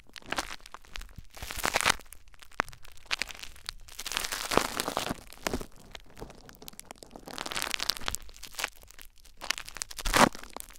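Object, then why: Plastic bubble wrap. Cupped hands press and rub clear plastic bubble wrap laid over a recorder, the fingertips working the plastic. Soft, bright crinkling and rustling rise and fall in waves, with a few sharp crackling snaps standing out, the loudest near the end.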